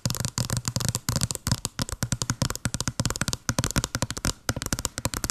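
Long blue nails tap quickly on a small, hollow white cardboard box with a blue pattern held over the mic. Dozens of short, dry taps sound in a fast, uneven run, each a dull hollow thump with a bright clicky edge that dies away almost at once.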